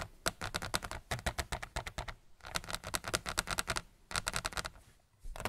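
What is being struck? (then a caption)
Large picture frame with glass front. Fingertips of both hands tap and drum quickly on the glass front of a large white picture frame, fairly thin and flat with a hollow backing, lying flat on a wooden desk. The result is rapid, sharp, dry clicks with almost no ring, coming in dense bursts separated by brief pauses.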